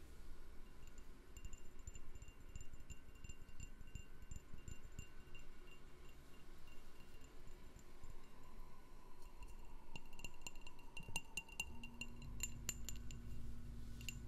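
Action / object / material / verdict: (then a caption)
tap / glass candle jar / glass / none. A candle in a jar is tapped with light, quick taps, each giving a short, bright, chime-like clink over a low background rumble. The taps grow denser and sharper in the second half, and a steady low hum comes in near the end.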